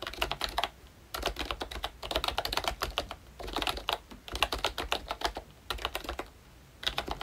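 A full-size Disney Mickey Mouse retro membrane keyboard, with a pink plastic hollow case and round black plastic keycaps, is typed on with fingertips. Bursts of quick, bright plastic clacks come in five runs separated by short pauses.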